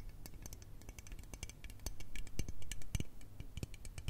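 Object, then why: Aluminium aerosol spray can. Long red nails tap and scratch along the length of a hollow, teal L'Oreal aluminium aerosol spray can. The result is a quick, uneven run of short, dry metallic ticks and bright scratchy clicks over a low, soft rumble, growing louder toward the middle.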